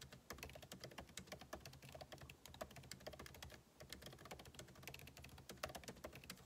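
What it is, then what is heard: Laptop keyboard being typed on. Fingertips type rapidly on the plastic keycaps of a backlit MacBook Pro keyboard set in an aluminum body, producing a steady stream of quick, dry clicks and taps with bright edges. The keystrokes overlap in a continuous rhythm with a short pause near the middle, over a faint low hum.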